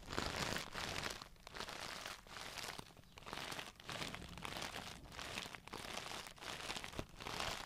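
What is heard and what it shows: A clear plastic Tarte brush case with a glitter panel and brushes inside is tapped and scratched with long nails while being turned in the hands. The sound is a bright, crinkly scraping and clicking texture that comes in steady bursts separated by brief quiet gaps.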